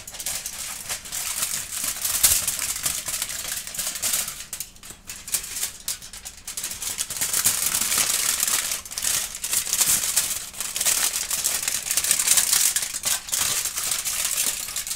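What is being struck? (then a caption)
Thin aluminum foil sheet. A smooth sheet of aluminum foil is held in both hands and bent and crinkled with the fingers while a kitten sits and watches. The result is a dense, continuous crackle of bright, crisp rustling that swells and fades irregularly, with almost no low end.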